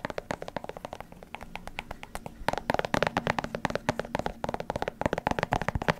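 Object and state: Leather sneaker tapped with nails.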